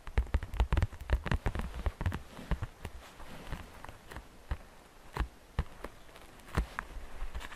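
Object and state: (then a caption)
Plastic basket, tapped and scratched. Long painted fingernails tap and scratch the outer wall of a medium, hollow, transparent green plastic basket filled with glitter and Easter grass. Quick, dry clicks with a hollow low thump cluster thickly at first, then space out, with a soft scratchy rustle running between them.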